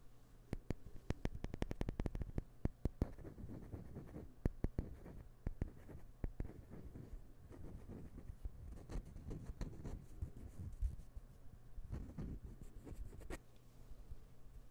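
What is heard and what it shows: A small, solid light-wood puzzle piece is held in the fingers close to the microphone and handled, rubbed and scratched with fingertips and nails. Quick, dry ticks and scratchy rubs come in dense bursts at first, then thin into softer, intermittent scraping. The sound is quiet and muffled, weighted toward the low end, and each contact dies away almost instantly.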